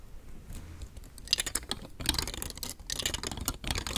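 Long fingernails tap and scratch the edges of a palm-sized, hollow rainbow star fidget toy made of thin nested hard plastic rings, held in one hand. Quick, bright, dry clicks and scratchy rasps come in dense, irregular bursts, each dying away almost instantly.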